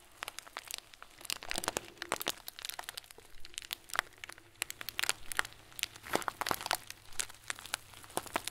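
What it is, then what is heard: Plastic bag of small plastic beads. A hand-sized clear plastic bag full of small white plastic pearls is squeezed with the fingertips and then the whole hand. The result is a dense run of bright, sharp crinkles and crunchy clicks that start and stop abruptly, with soft pauses between squeezes.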